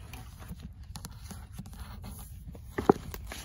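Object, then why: Paperback book with card-paper cover. Long acrylic nails tap and scratch the cream card-paper cover of an old hand-held paperback of "L'être et le néant," a solid paper block. Soft, dull, quiet taps and light scratching run throughout, with one sharper, louder tap near the end.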